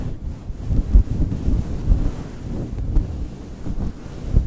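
Both hands scratch and squeeze a soft, fist-sized pink fluffy synthetic faux fur cover over a foam mic windscreen with fingertips and short nails. The result is a deep, muffled rumble of low rustling, with nothing bright or high in it. Brief thumps stand out above the steady rub.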